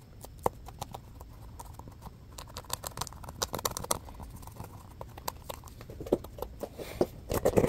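A small, solid, orange textured foam stress ball shaped like a basketball is scratched with fingertips and short nails and squeezed in the hand. The result is a rapid, irregular patter of short, dry scratching clicks over a soft, low rustle, with sharper, louder scrapes toward the end.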